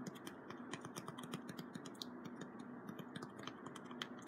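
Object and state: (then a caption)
Cardboard strip. Fingertips tap and scratch the surface of a small, flat piece of brown corrugated cardboard with printed text, held in one hand. A quick, uneven run of soft, dry taps and bright clicks rides over a constant papery scratching hiss. Each tap is short and dies away almost at once, and the whole clip stays quiet.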